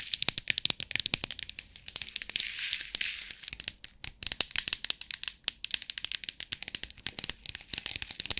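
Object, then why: Plastic compartment box of rhinestones. Long nails tap and scratch the lid of a clear plastic compartment box filled with rhinestones held in the hands, and the box is shaken. Quick, bright, dry clicks and ticks come in dense, irregular runs, with a louder rattling hiss of shifting stones around the middle. There is almost no low end.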